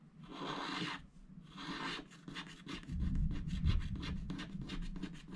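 A wooden stylus scratches a koala motif into a black-coated scratch-art paper sticker sheet held flat by hand. Two longer, bright rasping strokes come first, followed by a run of short, quick scratches over a low rumble.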